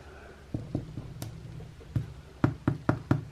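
Knuckle knocks on a first home-baked sourdough loaf, tapped to check whether it sounds hollow as the recipe suggests. About eight dull, low thumps with little ring, spaced irregularly with a quick run of four near the end. It's unclear whether it sounds hollow; the crust, especially on the underside, is very thick.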